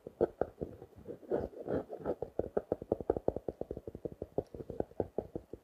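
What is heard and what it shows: Fingertips and nails tap and scratch the front of a small blue and orange paper notebook in a clear plastic wrap, held up closed. A rapid, uneven run of soft, dull taps with a muted midrange body is heard, each dying away almost instantly, with brief scratchy brushing between some of them.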